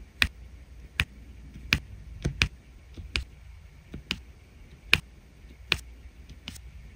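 A drill pen tip taps repeatedly on the resin rhinestone drills of an adhesive diamond painting canvas. About ten short, sharp, bright clicks sound at irregular intervals over a faint low hum, each dying away almost instantly.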